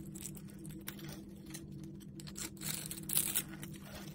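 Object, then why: Bar of soap cut with a knife blade. A utility knife blade scrapes and carves a solid, palm-sized rectangular red bar of soap with a textured crosshatch surface, held in one hand, into small cubes. Soft, bright scraping and crisp crackling cuts come in quick bursts, growing louder and sharper toward the end, over a steady low hum.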